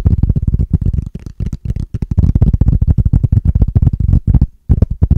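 Fingertips and short nails rapidly tap and scratch a small, flat, hollow transparent plastic case held in both hands. The sound is a dense stream of dull, low, hollow thumps and scuffs with very short decay and almost no high end. It runs nearly continuously, with brief pauses near the middle and a short gap just before the end.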